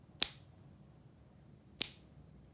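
A counterfeit one-ounce bar of unknown metal, received in the mail and weighing 1.02 ozt, is pinged twice, each strike a bright high tone. Each strike gives a dead clank that dies away quickly instead of ringing on, marking the bar as not silver.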